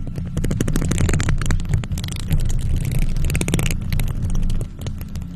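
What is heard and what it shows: Long nails on both hands, in faux leather gloves, scratch across a hollow silver metal mesh microphone grille. This produces a dense, continuous rumbling scrape with deep, boomy low-end texture. Rapid bright crackling flecks run through it, and it eases slightly quieter near the end.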